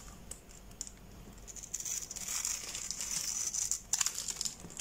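A hand-sized solid green soap bar with a glitter crust and a grid of pre-cut lines, held in one palm with a blade partly in view, is pressed and crumbled with the fingertips. Dense, bright crackling and crinkling with short sharp snaps builds in the middle and peaks near the end as crumbled bits fall off.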